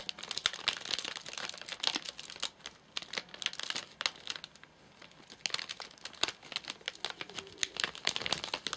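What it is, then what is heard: Plastic-film snack bar package. A flat, sealed white plastic/paper-laminate nougat bar package with crimped edges, full of nougat bars, is held in both hands and then set on a sofa, where fingertips tap and scratch its top surface. Dense, bright crinkling and crackling come in quick bursts with very little low end, easing into a brief quieter lull near the middle before the rustling and tapping pick up again.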